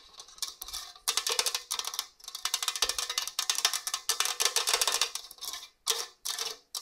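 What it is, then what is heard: Stainless steel box grater. Long orange nails scratch and tap over the raised holes on the coarse grating face of a hollow stainless steel box grater. Bright, rapid, rasping ticks arrive in dense bursts with brief pauses between them. The sound is almost entirely high and crisp, with no low end, and each click dies away almost instantly.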